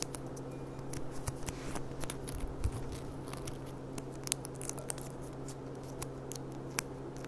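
A clear, empty glass goblet with a gilt rim is held on its side while long dark nails tap rapidly on its hollow bowl. Quick, dry, bright clicks scatter over a steady low hum, each tap dying away at once with no ringing.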